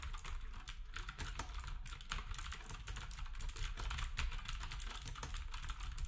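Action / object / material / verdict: tap / plastic computer keyboard with round keycaps / plastic / none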